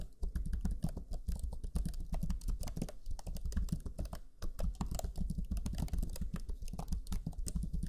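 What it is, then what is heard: Plastic laptop keyboard being typed on. Rapid typing on the black plastic chiclet keyboard of a Lenovo Legion 5 laptop, with fingertips of both hands pressing its low-profile plastic keys. Dense, quick key-press taps run steadily with short dry clicks and a soft low-heavy thump, pausing briefly just after four seconds.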